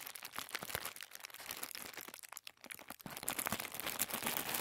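Fingers unfold and crinkle a sheet of thin white tissue paper, partly lifting it from a wooden table. Dense, irregular bright crackles and soft rustles fill the clip, dipping briefly in the middle before growing busier and louder toward the end.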